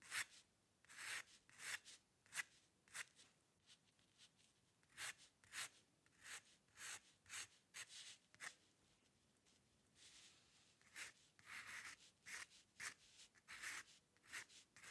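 A metal-nib dip pen scratches quick hair strokes along the right edge of a sheet of white drawing paper resting on a dark table. The result is a run of short, dry, bright scratches with brief pauses between them, with a gap of quiet near the middle before the strokes resume.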